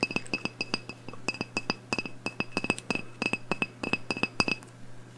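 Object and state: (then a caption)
Glass candle jar tapped with nails. Long nails tap rapidly on the glass wall of a medium black glass candle jar, wax-filled and burning, held in the hands. About two dozen short, dry clinks come in quick irregular bursts, each with a bright glassy ping near 2.6 kHz and high overtones that die away almost instantly. A faint steady low hum runs underneath.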